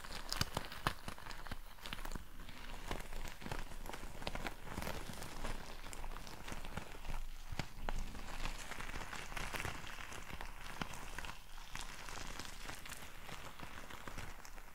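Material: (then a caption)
Rubber, gel beads. A large, fist-sized, pale green stress ball with a thin rubbery skin over frozen gel beads, soft and bead-filled rather than hollow, is held in the hand and scratched and tapped with long painted nails. The result is a steady, quiet stream of dense crackling scratches and short, dry taps with a faint low thud beneath, sometimes brightening into crisp clicks.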